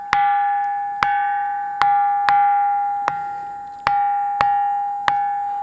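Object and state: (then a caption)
Ringing musical stone (dense, bell-like rock). A large black volcanic boulder on a hill, known locally as "kanchu banda" (bronze rock), is struck eight times at uneven intervals. Each strike rings out a clear, bell-like tone near 810 Hz with bright overtones, much like a bronze temple bell, and each ring fades slowly until the next strike. The ringing is attributed to dense silica and iron (ferric oxide) content in the rock, formed from lava about 600 million years ago.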